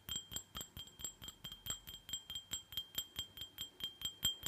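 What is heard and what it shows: A small, empty, hollow red glitter glass tumbler, held in one hand, is tapped with fingernails on its rim and sides in a quick, slightly uneven rhythm. About 21 separate bright clinks ring with a clear tone near 3.2 kHz and a higher overtone, each dying away quickly.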